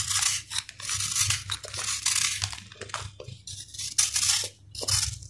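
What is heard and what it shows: A steel knife shaves and cuts a solid, dried sand-cement ball, breaking off crunchy crumbs. It makes a run of bright, gritty scraping and crunching strokes with short pauses between them. The sound sits mostly in the high range, with only a faint low rumble underneath.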